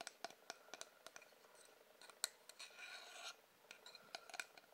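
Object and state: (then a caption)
Painted wooden figurine. A small, flat, solid painted wooden figurine of a sailor girl in a blue dress is held in the hands and tapped and scratched with fingertips and short nails. Quiet, sharp, bright clicks come in an irregular series with no low end, and a steady scratching rasp runs through the middle of the clip.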